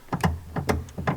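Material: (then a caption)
Metal. A loose metal car brake pedal is tapped and rattles on its own, giving six dull, low clacks in three quick pairs with short decay. The pedal has play in it and needs adjusting.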